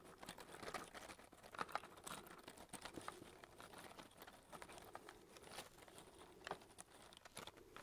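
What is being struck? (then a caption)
Cardboard matchbox of wooden matches. Fingertips tap and scratch the cardboard top of a small closed cardboard matchbox of wooden matches, held flat in one hand. The result is a quiet, dense stream of dry, crinkly taps and scrapes with a bright papery edge. Each tap dies away almost instantly.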